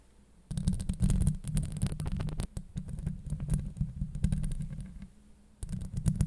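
Long acrylic nails scratch the steel mesh grille of a Blue Yeti microphone from both sides, producing a dense, boomy, low rumbling scrape peppered with rapid crackly clicks. The scratching starts after a brief near-silence, runs almost continuously, eases off for a moment near the end, then resumes.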